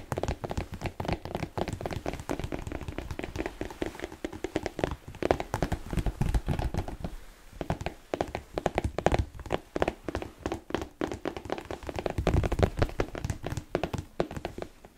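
Fingertips and nails tap rapidly on the leather upper of a single black smooth-leather Chelsea boot with an elastic side panel, held up hollow and empty. The result is a dense, steady patter of soft, dull thunks with a low, hollow body and very short decay. There is a brief lull partway through.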